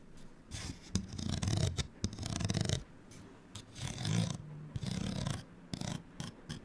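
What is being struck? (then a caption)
Paper card hang tag. A small, flat printed paper card hang tag, held in the hand, is scratched with long nails. Bursts of dry, raspy scratching alternate with quieter pauses, broad bright hiss riding over a low rumble, and a few short sharp clicks land between the strokes.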